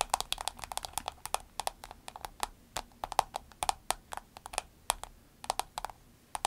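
Long acrylic nails tap rapidly on a soft green vinyl glasses case resting on a table, producing about 37 short, dry clicks with no ring. Each tap has a bright, crisp edge and a faint body around 820 Hz, and the taps come in uneven bursts over a quiet background.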